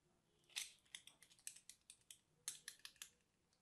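A small blade scratches and cuts into the surface of a solid, crumbly, dry purple soap ball about the size of a golf ball, coated in starch and held in the hand, until the ball breaks apart. Fourteen quick, dry, bright crunching scrapes follow one another, each crisp and short with almost no low end.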